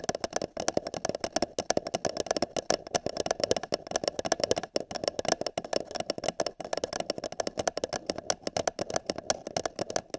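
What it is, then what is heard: Paper cup tapped with fingertips and nails. Fingertips and long nails tap the side of an empty, hollow printed paper cup held over a binaural microphone ear. The result is a fast, uneven stream of short, dry taps with a hollow midrange resonance and bright clicky edges, with no ringing between strikes.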